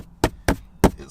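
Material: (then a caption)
Hard plastic. Knocking on the hard plastic lower dash trim on the passenger side of a 2023+ Acura Integra, just below the small piece that connects to the soft-touch upper dash. Four short, dull, hollow knocks, each dying away almost instantly. The trim is hard plastic with no soft padding, considered a shortcoming for a knee resting against it.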